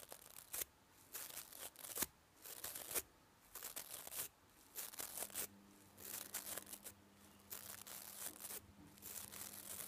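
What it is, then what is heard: Nylon toothbrush bristles being scratched. Fingernails rub and scratch through the nylon bristles of a manual toothbrush head held close up. Bright, crackly rasping comes in repeated bursts separated by short quiet gaps. A faint steady low tone sits underneath in the second half.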